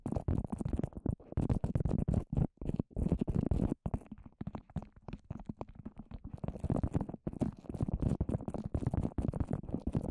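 A microphone head coated in wet white papier-mâché, a dome about fist size, is tapped and scratched with the long orange nails of both hands. The result is a dense, fast stream of muffled, low, thudding taps and rough scratches with brief pauses, mostly low in tone with little brightness.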